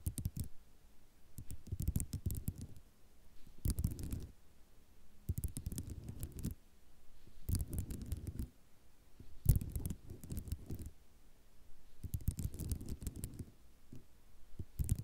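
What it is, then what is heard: Ceramic mosaic tile sheet. Long nails tap and lightly scratch across a white ceramic mosaic tile sheet. The sound is quick, dry clicking that comes in bursts of a few seconds, separated by short quiet gaps. Each burst mixes sharp, bright ticks with a soft, low rattle.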